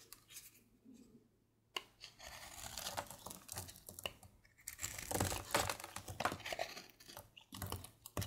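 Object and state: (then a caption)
Bar of soap being shaved. A partly carved, solid light-blue bar of soap is shaved with a red patterned blade held in the fingers. After a quiet start and a sharp click, bursts of dry, crackly scraping and crisp shaving follow in an irregular rhythm, bright and papery like tearing.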